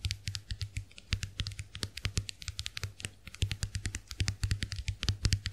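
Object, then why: Plastic compact hand mirror. Long nails tap quickly on the dotted plastic shells of a small round white plastic clamshell compact hand mirror held open. The result is a dense run of sharp, bright clicks, about forty-four in all, over a low steady hum.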